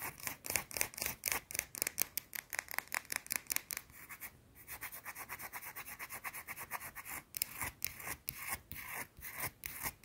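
A small round solid white soap bar is scratched with long blue nails, making a rapid run of dry, bright scratching strokes. The strokes come in quick bursts with a short quieter stretch near the middle, and there is almost no low end.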